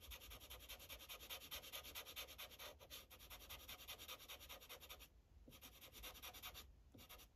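A yellow felt-tip Sharpie marker, held in the fingers, rubs and scratches back and forth over a thin printed paper coloring page resting on a hard clipboard. The bright, hissy scratching strokes come in a quick, uneven rhythm over a faint low rumble, with short breaks just after 5 seconds and near 7 seconds before the coloring resumes.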